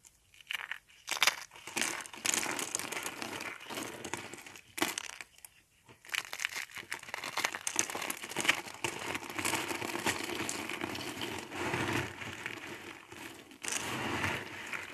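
Hollow rolled spirals of dry multicolor soap are squeezed in fists, and the flakes are rubbed between the fingers. The result is dense, dry crinkling and crunching with bright, brittle crackles. Short bursts open the clip, and a near-continuous crumble follows from about six seconds on.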